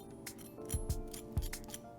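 A homemade, eggless, diner-style fried potato hash brown is scraped or tapped to show its crunch, giving a series of short, crisp crackling taps over a faint steady hum in the background. The hash brown turned out very crispy.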